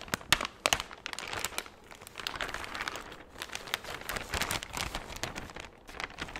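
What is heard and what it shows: A large, empty, thin clear plastic bag is crinkled and crumpled with the fingertips. A few sharp, bright snaps open the clip, then a steady stream of crisp, high crackling and rustling follows, with little low-end body.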